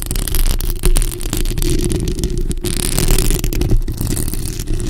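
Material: Metal mesh.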